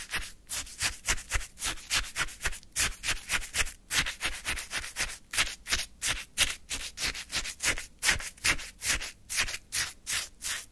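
A small paper cup full of icy orange sherbet is scraped and scooped with a wooden stick. The result is a steady run of rapid, crunchy, icy scraping strokes, bright and hissy, each short with almost no ring.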